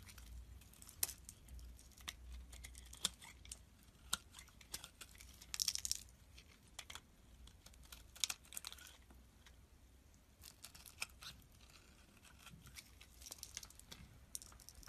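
A utility blade scrapes and shaves the surface of a solid amber translucent soap bar held in the palm. The sound is a quiet run of dry, crisp scraping clicks with short, bright shaving bursts, plus a faint low rumble underneath.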